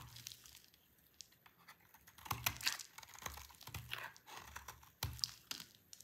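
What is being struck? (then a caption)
Bar of soap shaved with a blade. A dry, solid orange soap bar, held in the hand, is scraped and shaved with a utility knife blade. Quiet, crisp, bright scraping and crackly shaving sounds repeat throughout, with louder crunchy bursts in the middle and near the end, each dying away almost at once.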